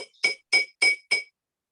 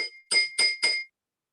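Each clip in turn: First: container with little water. Second: container half-filled with water, tapped with a spoon.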